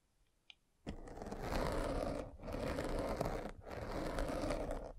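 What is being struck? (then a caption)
Foam microphone windscreen scraped by a spiked roller. A metal-spiked derma roller is rolled along the side of a black foam windscreen on a microphone, scraping the foam. After a near-silent start with one faint tick, three long, dense, crackling passes follow, separated by brief dips. The sound is full and rough, with most of its weight in the low-mids.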